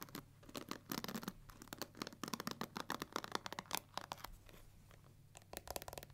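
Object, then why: Plastic paddle hair brush with plastic pins. Long nails scratch and flick across the black plastic pins set in the rubber cushion of a pink plastic paddle hair brush. A rapid series of dry, bright clicks and scratchy flicks comes in bursts, with a quieter scratching lull before a final flurry.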